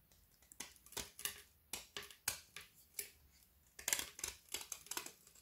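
A solid, long, narrow strip of frozen white chocolate studded with colored sugar-coated dragees is held in one hand over a wooden board while a small dark-bladed kitchen knife shaves and scrapes its edge. The result is a quick series of short, crisp, bright scraping crackles with almost no low end, each dying away at once, as shavings fall onto the board.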